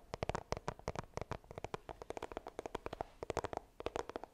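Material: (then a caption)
Cardboard. Long green nails rapidly tap and scratch the front of a small, hollow, white iPhone retail box of coated cardboard held upright. About thirty quick, dry clicks with a hollow mid-range knock fall in an uneven rhythm over a faint scratchy hiss, each dying away almost instantly.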